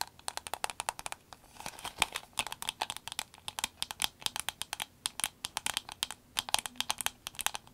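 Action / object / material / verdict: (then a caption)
tap / soft vinyl glasses case / vinyl / none. A soft green vinyl glasses case is held, tapped and squeezed with long acrylic nails. The result is a quick, uneven patter of sharp, dry clicks and crinkles that are bright, with almost no low end, and each one stops almost instantly.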